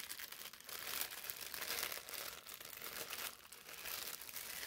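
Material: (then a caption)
Paper. A folded sheet of thin brown parchment paper is twisted and squeezed between the hands. It gives a steady, bright crumpling and rubbing crinkle with almost no low end, swelling and easing in waves over the clip.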